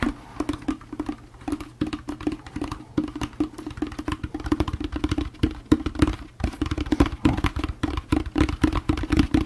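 Fingertips tap the bottom of a hollow orange plastic jack-o'-lantern candy bucket in a rapid, uneven run of short, dull knocks. Each tap has a hollow tone near 305 Hz and dies away almost at once, with the taps growing somewhat louder toward the end.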